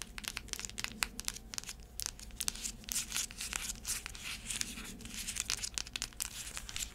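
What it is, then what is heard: Sandal with cork footbed. Long nails tap and scratch the tan cork footbed of a flat sandal with braided black straps, held in the hands. Rapid, crisp, dry clicks mix with bright, rasping scratches that stop short without ringing, over a faint low hum.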